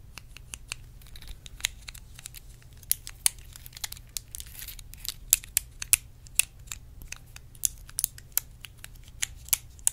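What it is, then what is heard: Clear plastic compartment box. Long red acrylic nails tap and scratch a small, hollow, clear plastic multi-compartment organizer box held in the hands, with small colored items inside. The result is a quick, irregular run of sharp, bright clicks that stop almost instantly, over a soft bed of crinkly scratching and a faint low hum.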